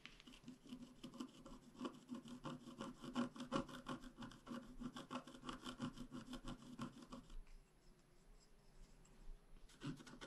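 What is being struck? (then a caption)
Black-coated scratch art paper scratched with a wooden stylus. A pointed wooden stylus scratches a flat, black-coated scratch-art card about A4 size in quick, repeated strokes of roughly three per second, giving a dry, rasping scrape with a low hum underneath. The scratching stays steady for about seven seconds, then drops to quieter, lighter strokes before a short burst returns at the very end.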